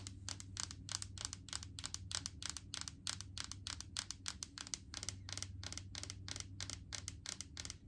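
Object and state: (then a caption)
Plastic jar tapped with fingernails. Long painted fingernails tap quickly and steadily on the green plastic lid and side of a large clear plastic jar full of solid coconut oil. The taps are short, dry and bright, and each click dies away almost instantly. A faint low hum runs underneath the whole time.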